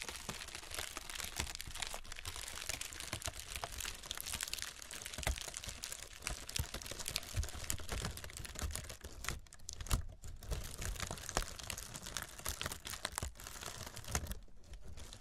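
Long red fingernails scratch and tap along the cells of a brown honeycomb kraft paper packing wrap roll resting on burlap. A steady stream of dense, crisp crinkling and papery scratching fills the clip, with many quick taps, a low rumble underneath and brief quieter pauses.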